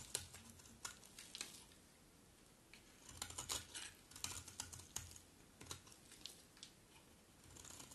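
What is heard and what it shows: A round, solid bar of dry red-striped soap is held in hand while a metal utility blade scrapes and cuts flakes from its edge. Quiet, bright, crisp scraping and clicking ticks come in irregular clusters, with short gaps between them.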